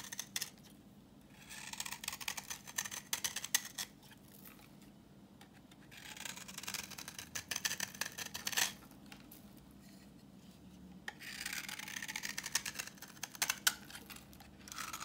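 A solid, translucent reddish bar of dry vintage soap, held in the hand, is scraped with a utility knife blade, curling off orange shavings. Bright, crisp, scratchy scraping comes in several bursts of rapid strokes, separated by quiet pauses.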